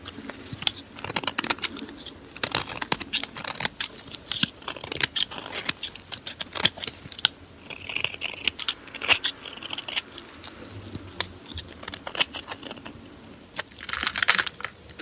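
A metal blade scrapes curls off the surface of a solid purple glittery soap bar held in gloved hands. Many short, crisp, bright scraping strokes follow one another irregularly, with little low end.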